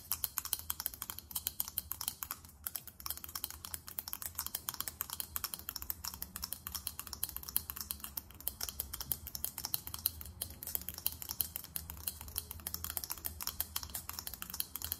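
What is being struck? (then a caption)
Faceted glass perfume bottle with metal cap. A small faceted, diamond-shaped glass perfume bottle with a silver metallic cap is held in one hand and tapped rapidly with long nails. The result is a continuous stream of quick, bright, clicky ticks that die away almost instantly, over a faint steady low hum.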